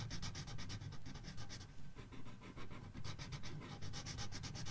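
A paper coloring book page is colored with a red felt-tip marker in rubbing strokes. Quick back-and-forth strokes produce a steady, slightly uneven rhythm of soft, bright scratchy swishes over a low, dull rumble, with brief pauses between runs of strokes.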